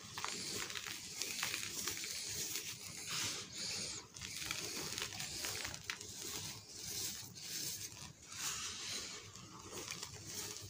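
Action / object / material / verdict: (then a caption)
scrape / pile of cement powder / cement powder / none. Bare hands rub, press and knead with fingertips and palms into a loose, dusty pile of dry pink cement powder. A steady, bright, crunchy rustle and crinkle goes on throughout, swelling and easing with each press, with little low end.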